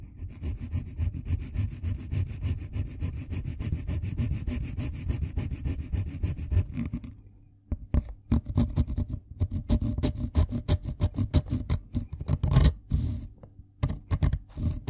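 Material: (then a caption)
Wood. A light blue wooden colored pencil is scraped by hand across a fine-toothed steel file, leaving blue pigment powder on it. A steady run of rapid, low rasping strokes lasts about seven seconds, then breaks off briefly before resuming as choppier, separate scrapes with short gaps between them.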